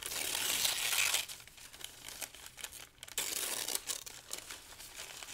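Thin, light pale-green paper sheets are lifted, crinkled and torn by the fingers of both hands over a pile of the same paper. A dense, bright burst of crinkling and tearing opens the clip, then drops to softer scattered rustles before a second loud crinkling burst returns and fades back to quieter crackles.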